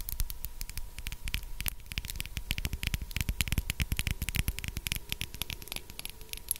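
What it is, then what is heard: Glass dropper bottle tapped with nails. A small, clear, empty-looking glass dropper bottle with a black rubber dropper cap is held close to the mic and tapped with long acrylic nails. Quick, irregular clicky taps patter continuously over a soft hiss, each tap dry and short with a bright tick and a low thump. A faint steady tone sits underneath.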